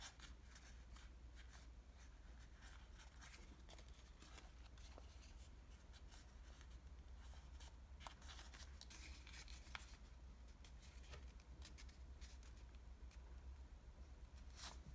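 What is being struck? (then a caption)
Folded washi paper origami model. A small multi-layer folded origami model of thin green patterned Japanese washi paper is held in the hands while fingertips pinch, crease and rub its folds. Quiet, dry paper rustles and short, bright crinkling ticks come and go over a steady low hum throughout.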